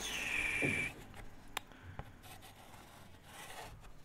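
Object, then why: Chalk stick on a small chalkboard. A white chalk stick is drawn across a small, thin, flat black chalkboard panel held close. A bright, squeaky scrape with a high whine fills the first second, then quieter scratching follows with a few sharp taps. The chalk writes steadily across the solid board.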